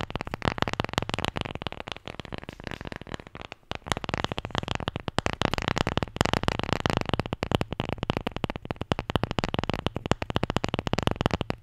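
A wooden Scrabble letter tile, the J, is tapped and scratched in a rapid, continuous stream of short, dry clicks and scrapes, with a brief pause near the middle. Each tick is sharp and dies away almost instantly, with a low thump under a rough, grainy texture.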